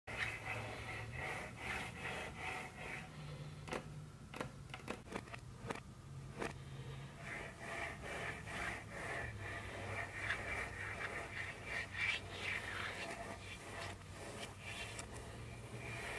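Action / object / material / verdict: scrape / wooden tabletop / wood / none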